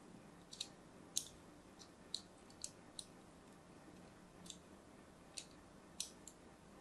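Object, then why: Bar of soap. A thin craft blade scores lines into the surface of a solid, opaque purple-and-white striped soap bar held in a hand with pink nails. About eleven short, crisp, bright clicks and scrapes come at uneven intervals over a faint hiss, each dying away almost instantly.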